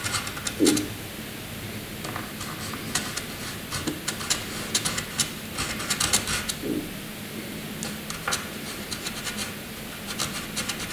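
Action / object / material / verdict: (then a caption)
scrape / graphite pencil on drawing paper / paper / none. A black graphite pencil is scribbled in continuous zigzags across a flat white drawing paper sheet. The result is a steady, dry, bright scratching rasp with quick stroke bursts and a few louder scrapes, over a faint low hum.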